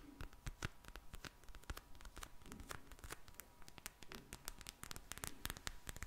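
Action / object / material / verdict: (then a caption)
tap / plastic gel bead eye mask / plastic / none. A pink plastic gel bead eye mask is rapidly tapped with long nails, giving a quick, uneven stream of sharp, crisp clicks and light scratchy rustles. The taps are dense and irregular, with bright clicky tops over a soft, low background.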